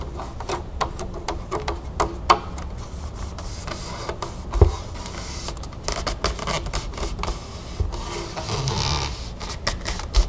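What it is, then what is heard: Plastic bottle of water. A large clear plastic club soda bottle with a paper/plastic label, mostly full of water, is held and tapped rapidly with long painted fingernails along the label and side. It makes a quick run of dull, low-heavy clicks and knocks that die away almost instantly. Brief brighter scratchy rustles run between the taps.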